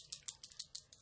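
A cosmetic lip product tube, shade 04, is shaken back and forth seven times, each shake giving a quick, bright, high sloshing rattle with almost no low end. The contents have turned abnormally runny, possibly from heat.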